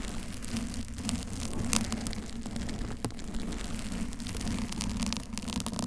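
Long pink and blue acrylic nails of both hands scratch a soft pink teddy-bear-shaped foam cover on a Blue Yeti microphone, while a second cover sits untouched. The result is a steady, dense, crackly rustle with a low hum near 220 Hz underneath. Brief brighter scratches stand out near 1.7 and 3 seconds.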